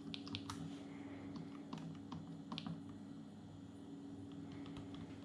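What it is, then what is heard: Plastic palmtop computer keyboard being typed on. Fingertips of both hands type on the plastic keyboard of an open Atari Portfolio, a small dark plastic palmtop computer. Quiet, light key clicks with a bright edge tap out irregularly over a steady low hum.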